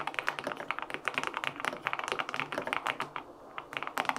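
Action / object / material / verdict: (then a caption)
tap / mechanical keyboard, aluminum case with plastic keycaps / aluminum, plastic / none. Fingertips and short nails type rapidly on a white LINK65 mechanical keyboard with an aluminum case, white and pink plastic keycaps, and a hollow body with foam inside. Quick, short, bright clacks and taps sound in a dense, uneven stream with a brief lull near the end, each keystroke dying away almost instantly.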